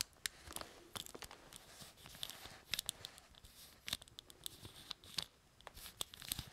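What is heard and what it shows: Fingers scratch and rub a small, hollow plastic Evil-Lyn action figure held in both hands and move its limbs. The result is a quiet run of bright, crisp clicks and scratchy crackles with very short decay over a soft hiss. Most of the sound is high-pitched, with little low end.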